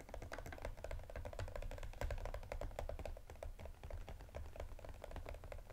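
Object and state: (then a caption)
Cardboard gift box. Fingertips and nails tap and scratch a small striped cardboard EOS gift box with a clear plastic window, holding lip balm spheres. Fast, uneven clicking taps with a hollow midrange knock and a low, thumpy body, each decaying quickly, run steadily throughout.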